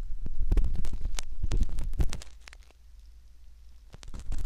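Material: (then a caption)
Silicone. A thin metal ear pick scratches and scrapes inside the canal opening of a soft, solid silicone ear model, heard up close as a run of quick, uneven scraping strokes with a deep rumbling low end. The scraping is dense for the first two seconds, thins to a quiet stretch, then picks up again briefly at the end.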